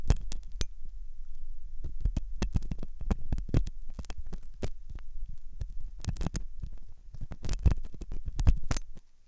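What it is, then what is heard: Silicone ear model scraped with a metal pick. A metal dental pick scrapes and scratches inside the hollow ear canal of a white, soft silicone ear on a binaural microphone. The result is a dense series of sharp, crackling scrapes over a low, steady hum, with the hits overlapping too closely to count. The sound stays close and bass-heavy before fading near the end.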